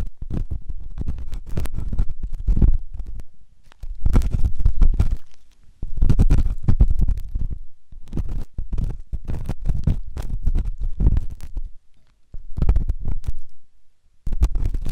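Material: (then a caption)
Silicone. A metal ear pick scratches inside the canal of a white solid silicone ear on a binaural microphone. The result is a dense run of low, rumbling scrapes and scratchy rustles in bursts, with brief pauses between them.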